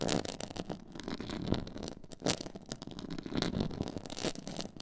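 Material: Faux leather.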